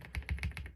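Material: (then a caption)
Plastic. The plastic space bar of a Tecware Spectre 75 keyboard, fitted with a dampening pad, is pressed repeatedly. Each press gives a short, deep, muffled thud with a light click on top. The space bar now sounds solid rather than high and hollow, more in line with the other keys.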